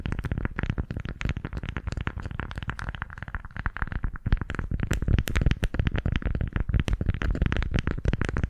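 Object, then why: Beeswax-coated cloth wrap. A pink floral beeswax-coated fabric food wrap is twisted, squeezed and crinkled in both hands close to the left microphone. It makes a dense, irregular stream of crackles and soft, low, thumpy crinkles, with brief bright snaps over a heavy low end. There is no speech.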